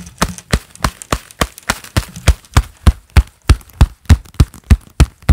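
A pair of black leather gloves worn on both hands claps palm to palm in a steady, brisk rhythm. Each flat clap is a dull, low slap with a short crisp edge that stops at once, with no ring between claps.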